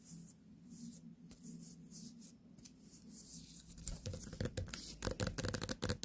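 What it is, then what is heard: Small white pumpkin. A small white pumpkin, a real gourd with its stem, is held and turned in the hands while long nails tap and scratch its surface. Quiet, soft scratching and rubbing with a low murmur underneath gives way after about four seconds to quicker, crisper taps and bright scrapes.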